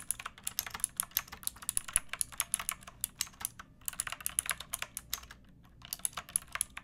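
Fingertips with long painted nails type on a pink backlit plastic mechanical keyboard with round typewriter-style keycaps and a hollow case. It makes a quick run of sharp, bright, clacky key clicks with very short ring, broken by two brief pauses.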